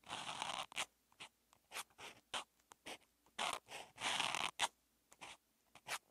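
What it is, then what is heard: Felt-tip marker writing on paper. A hand writes characters with a teal outline marker on flat grid-lined calligraphy practice paper, the felt tip stroking and rubbing across the page. Short bright scratchy strokes come in quick bursts separated by silent gaps, with a few longer rubbing sweeps, all dry with no ring.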